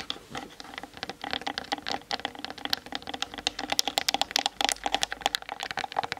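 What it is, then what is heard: Plastic camera body. Long nails tap rapidly on the sides and grip of a Canon DSLR's hollow plastic body, set on a tripod and seen in a mirror, picked up by its built-in mic. The quick, dry clicks are bright and hollow, each dying away almost instantly, with little low end under the steady patter.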